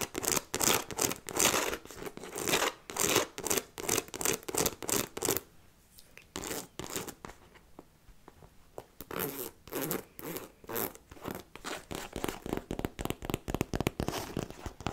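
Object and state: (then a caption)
Fabric and faux-leather handbag being scratched. A hollow black fabric handbag with faux-leather trim, held sideways, is scratched with long nails across its fabric body and trim near the handle. Rapid, bright scratching strokes repeat in quick bursts, with a quieter, sparser stretch in the middle before the steady rhythm returns.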